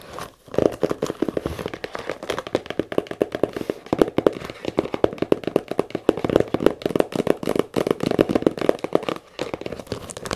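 Long nails tap and scratch very fast on the leather top of a small, hollow brown leather camera case that lies partly unzipped on a table. The result is a dense, continuous patter of dry, short clicks with a hollow midrange body and little deep or bright content. Brief pauses come near the start and just after nine seconds.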